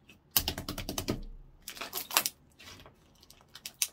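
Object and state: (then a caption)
Clear slime being poked. A translucent orange clear slime blob on a wooden counter is poked and squeezed with fingertips. It makes bursts of quick, bright, sticky clicks and pops with little low end, in clusters separated by brief pauses.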